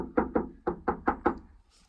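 Six dull knocks on the inside metal wall of a shipping container after professional spray foam insulation. Each knock is short and thudding, dying away almost at once with no echo or ring. The foam has deadened the wall, a night-and-day change from the same spot before insulating.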